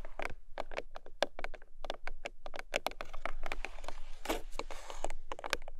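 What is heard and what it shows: Long nails tap quickly on the top of a small, long pink paperboard product box standing on its side, then grip its ends. The result is a run of dry, hollow clicks with a very short ring, mixed with light scratchy rustling.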